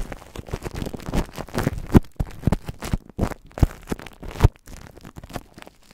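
Long nails tap and scratch clear plastic cling film wrapped over a microphone, making dense, irregular crinkling and crackling. Soft, low-heavy taps and rustles cluster through the clip, with a few sharper pops standing out near the middle.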